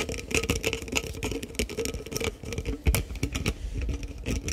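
A green-capped, Prime-style plastic sports drink bottle of about 500 ml, with a green and pink label, is held close to the microphone and tapped and scratched with fingertips and nails. Quick, dense clicks and hollow plastic taps run throughout, with bright ticking on top and a low thumpy body underneath. One louder knock stands out near the three-second mark.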